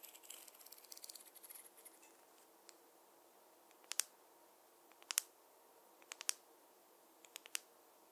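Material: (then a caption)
Wood. A wooden or bamboo fine-tooth comb parts hair with a soft, bright rustling for the first two seconds. It is then tapped in four quick clusters of sharp, dry clicks that stop dead with no ring. The taps are high and crisp over a quiet background.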